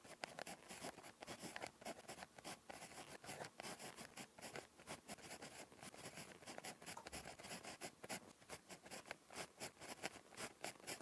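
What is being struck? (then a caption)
Ballpoint pen on a paper notebook page. A ballpoint pen tip scratches across a thin, flat lined paper notebook page while writing Korean script. Quick, dry, bright scratching strokes come in rapid bursts with short pauses, making a steady, close, quiet writing texture.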